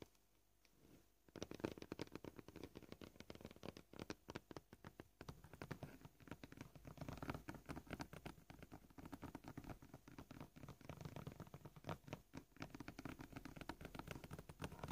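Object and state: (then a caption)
Plastic cutting board. Fast, rapid tapping with short polished fingernails of both hands on a flat, solid, scratched white plastic cutting board. After about a second of near silence, dense dry clicks and taps begin and continue steadily, each dying out almost instantly, with a dull, low-weighted body and little bright content.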